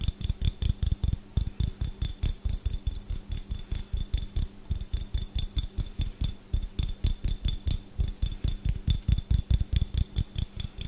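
A small empty clear glass jar with a gold metal lid, held in both hands, is tapped fast with the fingertips on the glass and the lid. About fifty quick, uneven taps land as dull low thumps with faint bright glassy ringing above. They continue steadily through the whole clip.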